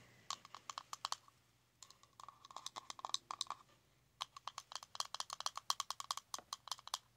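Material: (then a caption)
Plastic. A small round plastic blush compact with a metallic rim, lying on fabric, is tapped with long nails and fingertips. Quick, dry, bright clicks come in three bursts separated by short pauses, each tap cut off sharply with no ring.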